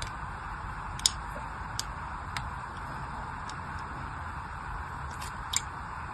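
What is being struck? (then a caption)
Bar of soap cut with a thin knife blade. A thin craft knife blade scores lines into the surface of a palm-sized solid bar of pink and white striped soap held in the hand. A few short, sharp, high scratching clicks stand out over a steady soft hiss, each dying away almost instantly.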